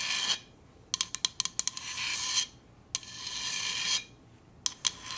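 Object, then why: Stainless steel insulated bottle. A Hydro Flask stainless steel insulated water bottle is tapped and scratched. Bright, rasping scratches alternate with quick runs of sharp, clinky metallic taps that have a high ring and almost no low end.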